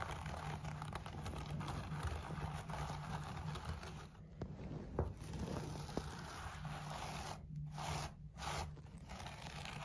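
Fingertips of both hands, with bracelets on the wrists, scratch and rub a thick tufted wool tiger-pattern pile rug lying on a wooden floor. The result is a steady, dense, low scraping rustle with a few sharp clicks, easing briefly around the middle and near the end.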